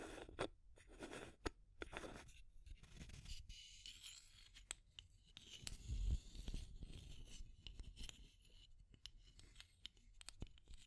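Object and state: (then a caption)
Plastic tube container with metal screw lid. Long nails scratch along a small clear plastic tube container, then tap on top of its aluminum screw lid. The audio is a quiet, dry scratching and scraping with bright edges, broken by sharp, short clicks and taps over a low, soft rumble.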